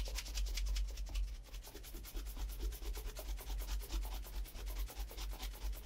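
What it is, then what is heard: Leather shoe being brushed. A brown leather Allen Edmonds Margate Oxford shoe with a wooden shoe tree inside is held in hand and brushed repeatedly along the upper with a horsehair shoe brush with a wooden back. Quick back-and-forth strokes make a steady stream of soft, bright bristly swishes over a constant low rumble.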